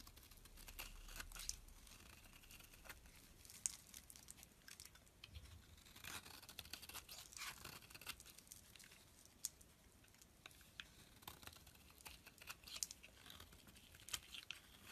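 A metal blade scrapes crumbly flakes off the surface of a solid dark green bar of soap held in the palm. Quiet, dry, bright scratching and crinkly tearing sounds come in a steady run of quick strokes, with a few sharper clicks standing out.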